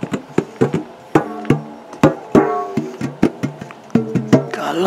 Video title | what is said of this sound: ASMR Tapping On A Metal Tin, Got Lovely Sounds From It | got a lovely sound doesn't it